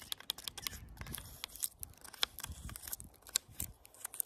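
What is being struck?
Wooden tree branch with bark.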